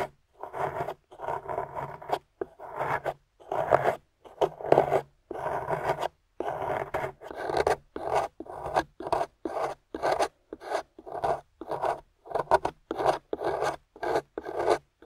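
A metal spoon pick scrapes powdery white plaster from a gold-painted plaster excavation bar in a long series of short, gritty rasping strokes. The strokes are separated by brief silences, and their energy sits in the low-mid range with a faint low hum beneath.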